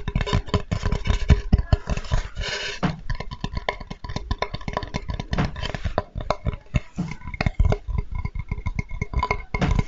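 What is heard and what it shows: A flat, light, solid wooden Spätzle board with a handle is held in the hands and tapped and scratched with fingertips close to the mic. Dense, rapid, dull knocks with deep low thumps are heard, mixed with soft scratching and brief woody clicks that die away almost at once.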